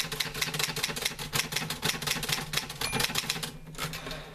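Fingertips type on the keys of a green-grey metal portable manual typewriter with paper loaded. About 25 quick, bright, dry key clacks arrive in a steady rhythm, each stopping almost at once, with a brief lull near the end before typing resumes.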